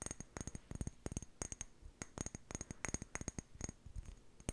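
Long painted nails tap rapidly on the body of a small hollow amber glass jar with a white plastic lid, making about twenty-two quick, bright clicks in uneven bursts. Each tap is short and dry with a thin high glassy tick over a soft low knock. There's no lingering ring, and the tapping stays quiet.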